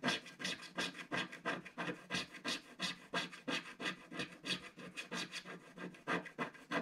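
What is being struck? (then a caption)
Black-coated scratch-art paper scraped with a thin wooden stick. A thin wooden stick scrapes away a black area on a flat black-coated scratch-art paper page. It makes a steady run of short, bright, raspy scratching strokes at about three per second, with slightly uneven timing.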